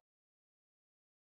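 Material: Nothing is struck.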